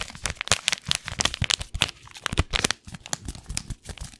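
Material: Paper.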